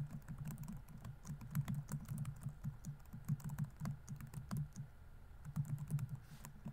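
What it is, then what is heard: Plastic laptop keyboard. Fingertips type rapidly on the plastic keys of a laptop keyboard. The result is a quick, steady run of soft, low clicks and taps with brief, sharp transients.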